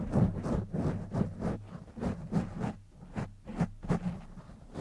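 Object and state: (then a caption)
Foam microphone windscreen being scratched. Fingertips scratch the top of a black foam windscreen on a silver microphone, then both hands rub its sides. The result is a rapid, uneven series of muffled, rustling scratches with a deep, boomy low end and little brightness.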